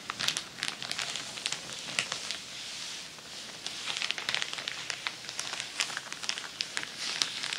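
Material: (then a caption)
Paper. A large crinkled sheet of tissue paper lying flat on a table is scratched and crinkled with long nails. The result is a steady, bright crinkling and crackling made of dense, quick snaps and rustles. There is almost no low end, and each crackle dies away almost instantly.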